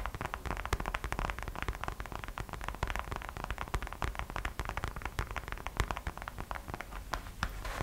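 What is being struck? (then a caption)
Small vinyl gingerbread-shaped purse. Long acrylic nails tap quickly and continuously on the glossy gold glitter vinyl or plastic front of a small hollow gingerbread-man-shaped purse that has a small gold heart charm hanging on its side. The result is a rapid, steady stream of short, dry, crisp clicks with a slightly hollow body and almost no ring, over a soft low rumble.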